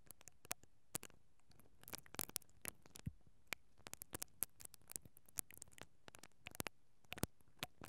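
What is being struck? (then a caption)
Perforated metal microphone grille brushed with plastic bristles. A mascara brush with black plastic bristles, held from above by fingers with long nails, brushes across the capsule of a hollow, perforated metal mesh microphone grille. The result is a quiet, irregular patter of short, dry scratches and crisp ticks, each broadband from deep thumps to a bright, high crackle, dying away almost instantly over a low, steady background hiss.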